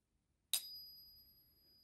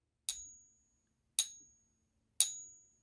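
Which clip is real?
The first.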